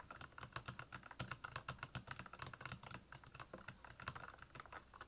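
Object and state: Plastic mechanical keyboard.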